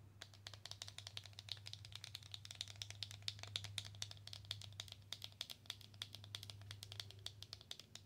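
A slim black Belle en Argent small cardboard product box is tapped and scratched rapidly with long acrylic nails. The result is a fast, continuous stream of sharp, dry clicks with a bright tone near 3.7 kHz and very short decay. A steady low hum around 100 Hz runs underneath.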